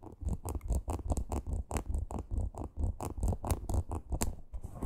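Long green nails scratch and tap a small teal faux leather crossbody purse with a stitched parrot appliqué. The result is a quick, uneven run of soft, dull scratches and taps, mostly low and muffled, with short faint bright ticks on top.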